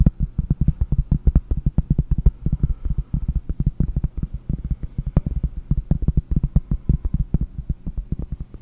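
Fingernails tap rapidly on a round, solid pressed-cork board held in both hands in front of a microphone. The result is a fast, steady stream of soft, dull, low-pitched thuds that stop almost instantly, with no bright ring.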